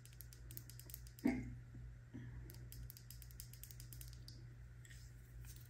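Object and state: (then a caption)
Plastic body butter jar with metal lid. A filled, medium purple plastic Truly body butter jar with a gold lid is held in the palm and rapidly tapped and scratched with long nails on its body and lid. The result is a quick, quiet stream of light clicks and scratches over a steady low hum, with one louder, fuller tap about a second in.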